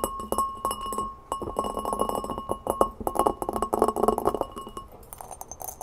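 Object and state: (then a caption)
Glass mixing bowl tapped with fingernails. Long painted fingernails rapidly tap and scratch the rim, sides and base of a large, empty, hollow clear glass mixing bowl held up in the hands. Dense clicks and scrapes bring out a steady glassy ring near 1.1 kHz along with brighter high overtones. The pace quickens into a thick flurry toward the middle, then thins to softer, lighter taps at the end.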